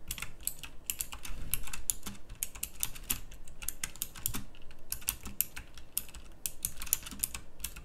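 Fast fingertip typing on a pink backlit plastic mechanical typewriter-style keyboard with round plastic keycaps gives a quick, uneven stream of short, crisp clicks. The clicks are bright and sharp, set over a low background rumble.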